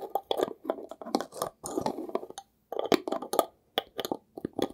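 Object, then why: Small glass jar with metal lid. A small, mostly empty, hollow glass jar with a label and a gold metal lid is held and scratched and tapped with fingernails. Quick, dry bursts of scraping and clicking come in clusters, with brief silent gaps between them. The sound is centered in the mids around 676 Hz, with bright, crisp tops and almost no low end or ringing.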